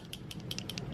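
A bottle of long-wearing liquid lip color in the shade Pink Champagne is shaken before it is applied, as it is meant to be. The shaking gives a quick, bright rattle of about six clicks over a low steady hum.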